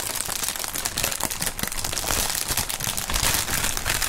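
Clear polyethylene air-pillow packaging film is crumpled and squeezed between two gloved hands. It gives a steady, bright crinkling full of sharp crackles and small pops that continues without a break at an even level throughout.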